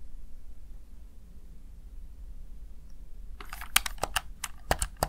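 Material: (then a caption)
Plastic. Fingertips press the keys of a Razer Tartarus Chroma plastic backlit gaming keypad. A low, quiet hum fills the first three seconds, then a quick run of about nine sharp, bright plastic key clicks follows, each stopping dead with no ring.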